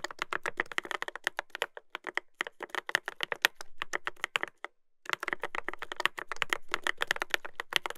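Fingertips type continuously on a Dolphin 2021 mechanical keyboard with a brass plate and plastic keycaps, producing rapid, crisp, bright clacks with a short ring. The clicks come in quick bursts with brief pauses, including a near-silent gap around the middle before the typing resumes.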